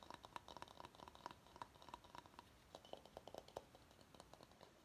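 Fingernails tap and scratch the outer surface of a medium, empty, hollow bamboo salad bowl held upside-tilted. A quick, uneven run of short, dry, hollow knocks rings near 1 kHz, and the later taps drop to a lower pitch around 600 Hz. Faint scratchy rustling runs between the taps.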